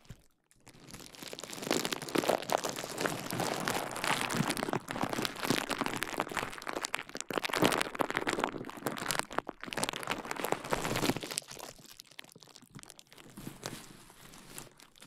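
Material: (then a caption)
Plastic. Fingertips press, scratch and pop the air bubbles of clear plastic bubble wrap wrapped around a KU100 dummy head microphone. Dense, irregular crinkling and crunching with sharp, bright pops and crackles runs almost continuously, thinning out and getting quieter toward the end.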